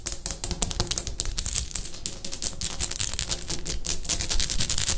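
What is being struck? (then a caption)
Textured ceramic wall tile. Long painted fingernails of one hand tap and scratch a bathroom wall of light grey textured ceramic tiles with a solid surface. The result is a fast, uneven stream of sharp, bright clicks and rasping scrapes with very short ring and a low underlying rumble.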